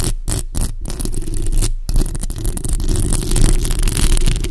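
Long acrylic nails scratch and tap the hollow, bare metal mesh grille of a black USB microphone. The result is a continuous, dense, low-heavy scraping rumble with rapid tapping mixed in.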